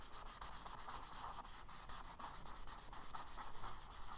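A palm and fingers rub a tan kraft paper sketchbook page, then a charcoal stick scratches short hatching strokes across it. The result is a steady, dry, bright rasping hiss with quick pulsing dips as each stroke starts and stops.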